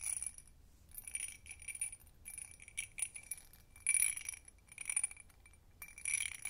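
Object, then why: Empty textured glass tumbler. Long nails tap the rim and sides of an empty hobnail-textured glass tumbler in quick, uneven bursts. Each tap gives a bright, short chime-like ring with a thin, glassy clink, separated by brief near-silent gaps.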